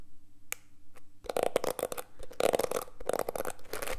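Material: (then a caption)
Plastic. Fingertips scratch and rub the plastic bristles of a small black plastic detangling hairbrush held in the hands close to the mic. After a quiet opening with a couple of isolated ticks, dense bursts of crackly, ticking scratches begin, with a rough midrange body and bright, crisp edges, coming in uneven clusters until the end.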